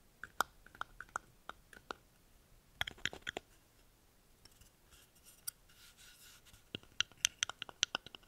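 Long painted nails scratch and rub along the dry, hollow shell of a small, thin, papery brown dried guaje seed pod held open in both hands. About twenty sharp, dry, bright clicks and ticks come in quick clusters, with a softer papery rustle in the quieter middle stretch. Each tap is very short, with no ring.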